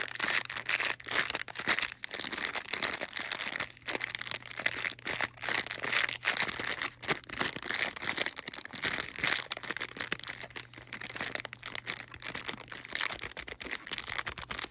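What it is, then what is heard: Plastic bag of plastic clips, crinkled. A small sealed clear plastic bag holding green and teal plastic wall clips and a cardboard backing card is held in hand and scratched and squeezed with long painted nails and fingertips. It gives dense, bright crinkling and crackling with quick scratchy taps throughout, plus a faint steady low hum underneath.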